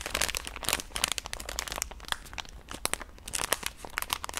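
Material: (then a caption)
Soft plastic. A full pink soft plastic wet-wipe pouch is squeezed and scratched with long nails. Dense, bright crinkling comes in quick sharp bursts that cut off right away, over a soft rustling bed throughout.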